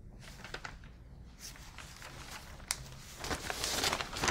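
Fingertips with long nails hold and flip a folded, printed newsprint insert with coloured pages. The paper gives soft, bright crinkling and crackling with a few sharper ticks, growing louder and denser toward the end.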